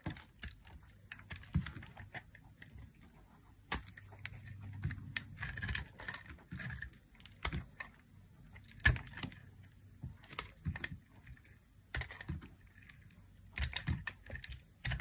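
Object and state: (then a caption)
Dry soap bar being carved. A small knife blade carves thin slices off a small, solid, pink dry soap bar held in one hand with long blue-painted nails, the shavings falling onto a pile of colorful soap shavings below. Crisp, dry scraping cuts sound as quick, bright clicks and crackles over a soft low rumble, with a few sharper snaps standing out.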